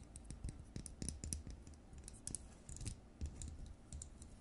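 Long nails tap and scratch the hollow frosted plastic dome and the body of a plastic LED light bulb. The result is a quick, uneven run of soft, dry clicks with brief scratchy rasps and a bright crisp edge over a low, hollow knock.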